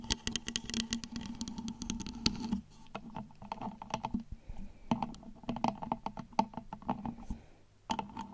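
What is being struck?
Flameless LED pillar candle with wax-like shell.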